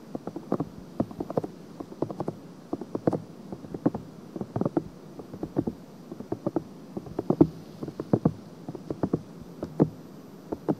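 Long fingernails lightly scratch the soft silicone ear of a binaural microphone. A quiet, rapid run of short, dry scratching crackles sits in the low-mid range with almost no bright content. Each scratch stops almost instantly, with no ring.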